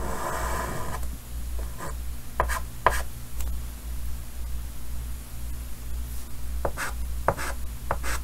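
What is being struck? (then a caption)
Chalk on a painted wooden-framed chalkboard. A hand draws curves in white chalk on a large, solid painted chalkboard set in a green wooden frame. The chalk makes soft scratching and rubbing strokes broken by several short, sharp taps and squeaks, over a steady low hum.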